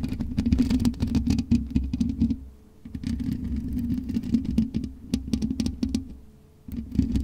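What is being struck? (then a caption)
Metal mesh microphone grille. Long nails scratch across the black metal mesh grille of a USB microphone, giving a dense, close rasping scrape with a buzzy low-mid tone and quick bright ticks. The scratching comes in three bursts, pausing briefly around the third second and again near the seventh.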